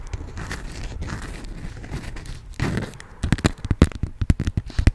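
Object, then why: Beeswax-coated cotton food wrap. A yellow honeycomb-print beeswax-coated cotton food wrap is folded and crinkled between the fingers and scratched with long nails. A dense, soft crinkling rustle fills the first three seconds, then gives way to a run of sharp, irregular crackles and snaps that end abruptly.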